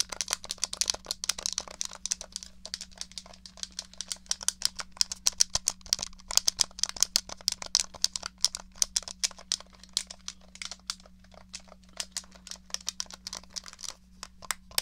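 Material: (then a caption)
Plastic. Long nails rapidly tap and scratch the case of a small, hollow, grey plastic SNES controller. The result is a dense, dry stream of sharp, bright clicks with almost no ring, over a faint steady low hum.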